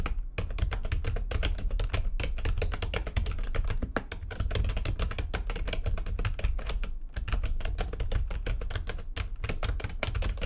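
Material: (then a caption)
Plastic. Fast typing with long nails and fingertips on a full-size plastic computer keyboard with white backlighting and a hollow housing. A dense, steady run of quick, short clicks and taps carries bright clacks over a strong low, hollow thump, with each keystroke dying away almost at once.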